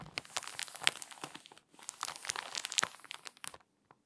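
Long nails and fingertips turn the pages of a glossy paper magazine open at its puzzle pages and rub the paper flat along the spine. Bright, dry crinkling and crackling come in two dense bursts separated by a brief pause. The sound stops abruptly, followed by one faint final tick.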